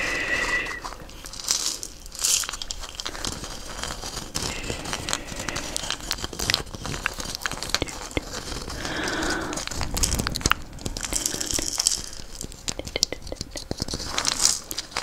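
A hollow dried gourd wrapped in a beaded string net is scratched and tapped with a wooden stick and fingertips, rattling the beads against the gourd. The result is a steady stream of bright, crinkly rattles and scratchy crackles, broken by short, dry taps that stop at once without ringing.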